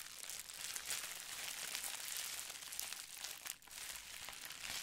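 A folded sheet of clear plastic bubble wrap is crinkled and squeezed with fingertips. The result is a steady, dense, bright crackling with almost no low end, briefly easing near the end before picking back up.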